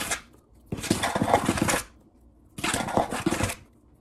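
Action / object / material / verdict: scrape / wooden tabletop / wood / none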